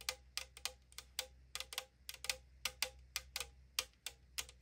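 Long nails quickly tap the side wall of a tall 500 ml aluminum drink can lying on a wooden table. About 19 bright, dry ticks of hollow thin metal, each dying away almost at once, centered around 2.5 kHz with a faint low hum underneath.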